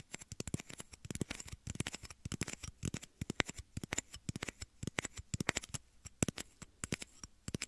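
Two matching small, empty, clear hollow plastic shot glasses, one held in each hand beside ear-shaped microphones, are tapped and scratched with fingertips and nails. The result is a rapid, uneven stream of short, dry clicks and scrapes with a soft low thump beneath a bright, crackly edge. Each tap dies away almost instantly with no ring.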